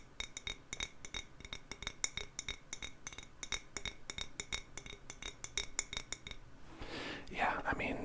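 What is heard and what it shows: Fingers tap rapidly and irregularly on a glass bottle, producing a long run of short, crisp clinks with bright, high ringing overtones that die away almost instantly. After about six and a half seconds the tapping gives way to a softer, breathy hiss with a few faint clicks.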